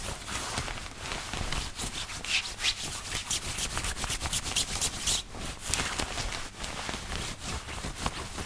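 Fingertips scratch, grip and rub the chest, placket and pocket of a thin white woven cotton button-up dress shirt being worn. Dense, bright scratchy friction and soft crinkling are heard, with repeated short strokes and brief pauses.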